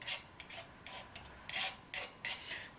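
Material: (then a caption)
Steel. A file is scraped in repeated short strokes across the hardened edge of a forged steel carving chisel blade, where the scale has popped off. Each stroke gives a bright, high-pitched, glassy rasp as the file skates off the steel instead of biting, showing the blade has good hardness.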